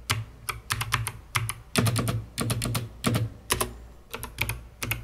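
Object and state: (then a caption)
Plastic mechanical keyboard. Long red-painted nails and fingertips press keys rhythmically on a COX CK900 S2 full-size mechanical keyboard with white plastic keycaps and a hollow, dark plastic case. Quick bursts of clacky keystrokes land in uneven clusters, each a short bright click over a low, hollow thock that stops almost at once.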